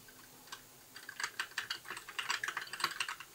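Fingertips type on a compact white plastic mechanical keyboard with backlit plastic keycaps, one hand only at the start. A few scattered clicks give way to a quicker, steady run of sharp, bright keystrokes with short decays and no low end.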